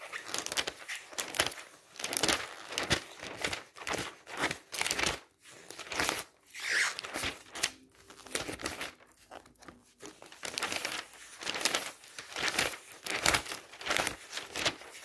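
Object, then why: Glossy paper catalog. Fingertips quickly turn and riffle the thin glossy pages of a thick glossy-paper travel catalog lying open on a stack of magazines. The result is a rapid series of bright paper flaps, swishes and crinkles with almost no low end, each burst short and dry, coming in uneven bunches with brief quieter gaps between them.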